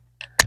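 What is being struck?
Metal aerosol spray can with mixing ball.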